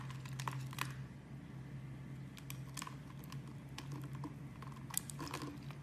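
A utility knife blade scrapes grid-cut cubes and shavings off a solid brown soap bar held in hand. The result is a quiet run of crisp, bright crackling scrapes and short clicks over a steady low hum.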